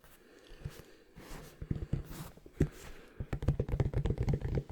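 A deflated, unpumped leather basketball with thick leather is tapped with fingernails. Soft, dull low thuds with almost no ring come sparse at first, then in a faster, denser run of taps toward the end.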